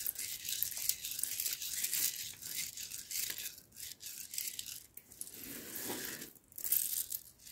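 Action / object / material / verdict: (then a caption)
scrape / loose roasted coffee beans / coffee beans / none. Loose roasted coffee beans are gathered in the hands, rubbed together and swept across a cloth mat with the palm. The result is a steady, bright rustling and crackling with short gritty bursts, soft overall and almost entirely high-pitched, with a brief lower, muffled swish near the end.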